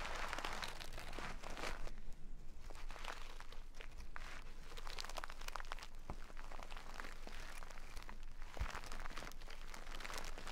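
A full jute burlap bag of rice is scratched with long nails, then held upright and squeezed so the rice inside crunches. Dense, steady scratching and crinkling textures run throughout with many quick, tightly packed crunches. A low rumble sits underneath.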